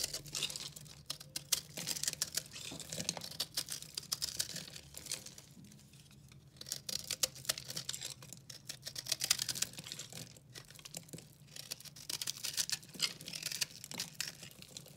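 A hand-sized solid bar of dry pink recycled soap is held in the hand and carved with a utility knife, and brittle chunks crumble off. Dense, crisp scraping and crunching fills the clip with bright, fast crackles and clicks, easing briefly around the middle before resuming.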